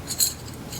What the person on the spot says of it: And it sounds like metal. I totally think these are straws.